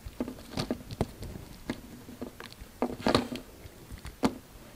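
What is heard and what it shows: A utility knife blade cuts and scrapes pieces off a solid yellow soap bar that keeps getting smaller. Short, crisp cutting snaps and soft scraping repeat irregularly over a quiet background. Each sound has a muted, low body with a little bright edge and dies away almost at once.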